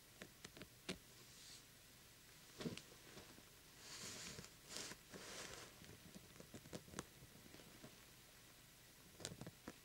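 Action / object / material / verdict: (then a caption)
tap / small glitter-coated plastic pumpkin lamp / plastic / none. Fingertips pat and tap the face of a small, hollow, glitter-coated plastic jack-o'-lantern lamp, with both hands approaching it by the end. About nine quiet, sharp, clicky taps stand out from a soft background, with brighter scratchy, rustling swishes of the glittery surface in the middle.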